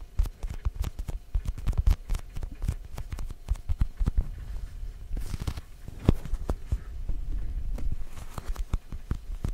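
A small, orange, glossy, hollow plastic Halloween jack-o'-lantern pumpkin with a stem is held just behind the microphone and tapped all around with fingertips and short nails. The result is a steady patter of soft, dull, hollow thuds, deep and low with almost no ring, plus a few brighter clicks from the nails.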